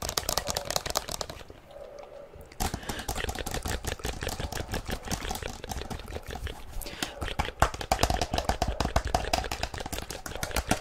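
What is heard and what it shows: Long nails tap and scratch quickly on the plastic shell of a black plastic inline skate boot with mesh and laces, held close to the microphone. Dense, rapid clicky taps run throughout, with a brief quieter, scratchier stretch near the start before the fast tapping resumes.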